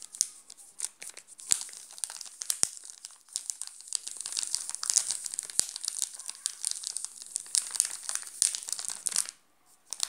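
Fingertips and nails scratch and crinkle the shiny yellow plastic wrapper of a full, sealed Garoto chocolate bar. A dense, bright crackle of crinkles and sharp ticks runs almost nonstop with no low end. It falls silent briefly near the end before one last crinkle.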